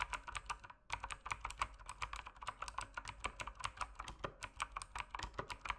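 Fingertips type steadily on the plastic keycaps of an RGB mechanical keyboard, producing a rapid run of sharp, bright clacks with a midrange body around 1.1 kHz. Each keystroke dies away almost instantly, and there is a brief pause just before the first second.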